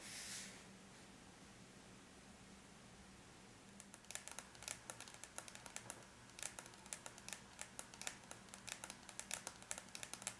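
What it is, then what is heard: Aluminum laptop lid tapped with fingernails. Long bare natural nails of both hands tap lightly on a closed silver aluminum laptop lid, a flat, thin, hollow-backed metal shell. After a brief bright hiss at the start and a few quiet seconds over a faint low hum, rapid, crisp, high clicking begins at irregular intervals. Each click dies away almost instantly.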